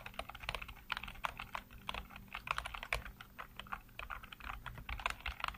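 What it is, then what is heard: Plastic computer keyboard. Fingertips type rapidly on a black plastic backlit computer keyboard, producing a quick, uneven stream of short, crisp clicks with bright, clacky tops. Each keystroke dies away almost instantly, over a faint steady low hum.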